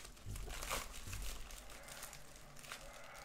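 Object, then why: Padded plastic bubble mailer. A white, medium-size padded plastic bubble mailer lies flat on a wooden desk while both hands rub and scratch its flap and surface with fingertips and nails. The result is a soft, steady crinkling and scratchy rustle with bright, hissy texture, over a few low thumps from the handling.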